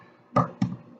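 An already boiled egg is lightly tapped twice to crack its shell, giving two soft, dull cracking taps with short, low-pitched thuds that die away quickly. The egg is tapped just enough to crack the shell before rolling it so the shell comes off easily.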